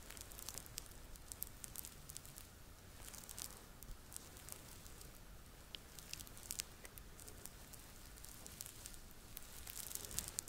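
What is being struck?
Stuffed plush fabric toy.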